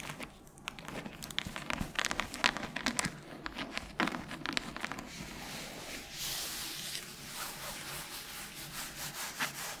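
Long nails rub and scratch across the cover and page edges of a solid red hardcover book. For the first half, dense, crisp scratching is broken by sharp clicky ticks; it then settles into a smoother, steady brushing hiss with bright, airy texture and soft rhythmic swells.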